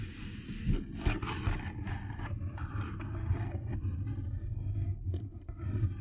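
The end of a Thin Mints cardboard candy box, held close to the microphone, is rubbed and scratched with fingertips and nails. The result is a continuous, muffled, low rumbling scrape with a steady hum-like low tone, broken by a few sharper, brighter scratches.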